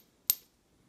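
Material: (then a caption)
Metal. A piece of non-gold metal with a higher speed of sound is tapped once for comparison with a gold coin. It gives a single sharp, very high-pitched ping with energy almost entirely above 2 kHz. The ping fades within a fraction of a second, shorter and higher than a gold coin's ring.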